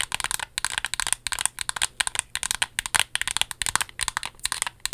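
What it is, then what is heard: Paperboard product box tapped with nails. Long nails tap along the length of a small, slim, hollow cardboard lip product box made of pink and white printed paperboard. About 27 quick, dry, bright clicks come in rapid, uneven bursts. Each tap dies out almost instantly, with little low-end body.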